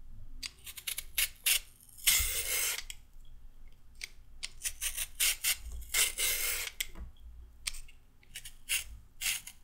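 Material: Carrot.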